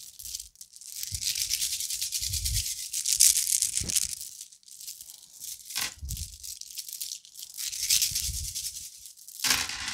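A necklace of small round orange plastic beads is bunched up and vigorously shaken and rubbed between both palms and fingers. It makes a dense, bright, continuous rattling and clicking, like a maraca, in uneven surges, with soft low thuds from the handling beneath.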